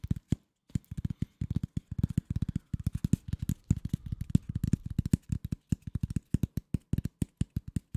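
A flat brown corrugated cardboard piece is held in both hands and scratched with fingertips and nails. The result is a rapid, uneven run of short, dry, low scratchy taps that stop almost instantly. There is a brief pause near the start.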